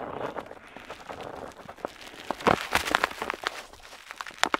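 A metal dip pen nib scratches across a flat paper map sheet while inking a coastline. Soft, dry scratching fills the start, then sharper, brighter scratches and ticks come in quick, uneven strokes. The sound is close and quiet, with little low end and almost no ring after each stroke.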